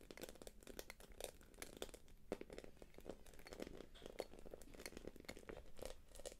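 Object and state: Quilted plastic purse.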